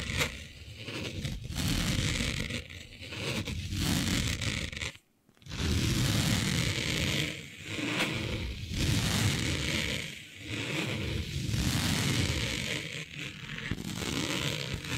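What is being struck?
Smooth synthetic fabric.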